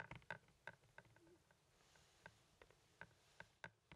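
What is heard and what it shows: Fingertips and nails tap on a hollow, hand-sized blue plastic Blu-ray movie case held in the hand. The sharp, quiet clicks come in an irregular series, each with a hollow tone near 1.5 kHz that dies away almost instantly.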